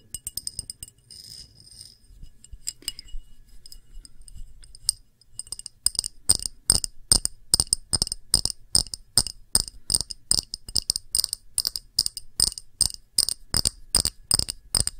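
A glass object is tapped quickly with the fingers, giving short, bright, glassy clinks with a high ringing tone. The first few seconds bring soft, scattered taps and a brief scratchy rustle, then from about six seconds the taps turn louder and come in a steady, rapid rhythm to the end.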